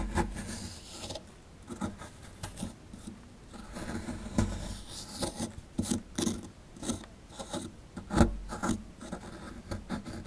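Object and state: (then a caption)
Plaster dig block being scraped. A dark plastic chisel rasps and scrapes at a solid plaster excavation block held in the hand, working beside the skeleton embedded in it. Irregular gritty scraping strokes come in short bursts, with a dull low body and some brighter scratchy edges. One sharper scrape stands out near the end.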